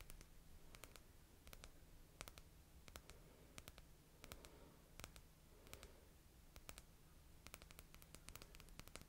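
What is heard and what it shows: A small red Essie nail polish bottle, made of glass with a white plastic cap and filled with polish, is held in one hand and tapped with long painted nails. Quick, sharp, bright clicks come in irregular bursts, each dying away almost at once. A quiet, steady low hum runs underneath.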